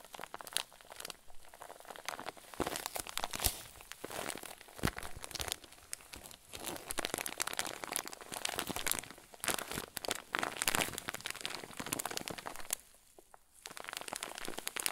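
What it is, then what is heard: Clear plastic bag with fluffy filling, crinkled. Fingertips squeeze and crinkle a clear plastic zip bag full of white fluffy filler. A dense, bright stream of crackling crinkles runs throughout, with a brief quieter lull around thirteen seconds before the crinkling resumes.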